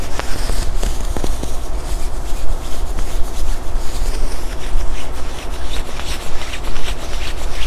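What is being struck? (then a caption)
Quilted nylon puffer jacket. A hand rubs the padded upper-arm sleeve of a black quilted nylon puffer jacket being worn, producing a continuous soft swishing and scratching rustle. The sound is dominated by a low rumble, with faint bright fabric crackles over it and no separate distinct hits.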